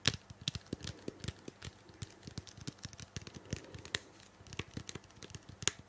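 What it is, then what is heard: Plastic shampoo bottle. Long painted nails tap and scratch a small, hollow, purple-blue plastic shampoo bottle held close to the microphone. A rapid, irregular run of dry, clicky taps mixes with bright scratching, each tap stopping almost instantly with a faint hollow low body.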